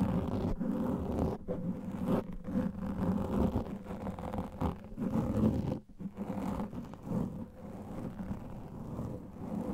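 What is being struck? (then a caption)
Foam microphone windscreen. Fingertips and nails scratch and rub a soft, porous black foam microphone windscreen. The result is a continuous, muffled scratching and rustling that is heavy in the low end with almost no high content. The level rises and falls in uneven waves, with brief dips between strokes.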